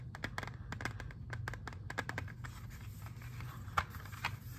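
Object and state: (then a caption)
Plastic CD jewel case. A clear, hard plastic CD jewel case with a disc inside, hand-sized and hollow, is held in both hands and tapped and scratched with fingernails. Quick, sharp clicking taps come in an irregular run, mixed with a softer scratchy rasp, over a steady low hum. The taps are bright and dry, dying away almost instantly, with a couple of louder clicks near the end.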